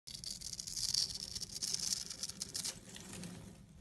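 A small red-handled blade scrapes and carves across the cross-hatched surface of a solid purple soap bar held in the fingers, shaving off small flakes. The sound is a dense, bright, crisp rasping made of rapid overlapping strokes, with almost no low end. It softens slightly toward the end.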